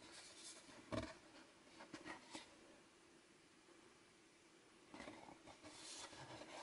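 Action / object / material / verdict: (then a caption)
scrape / small cardboard box / cardboard / none. Fingertips rub and scratch the printed surfaces and edges of a small cardboard Fitbit Blaze box as it is turned in the hands. Soft, dry scratching and brushing rises over a quiet, faint background, with a few sharper scrapes standing out, the loudest near the start. Bright, airy friction returns toward the end.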